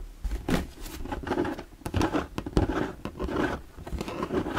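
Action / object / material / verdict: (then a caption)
tap / plastic storage box / plastic / none. Fingertips and nails tap and scratch the sides of an empty, hollow, translucent plastic shoe-style storage box held in the hands. The result is a quick, uneven run of soft, hollow taps with a low, dull body, mixed with short scratchy rustles. Each tap dies away almost instantly.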